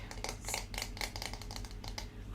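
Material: Wood.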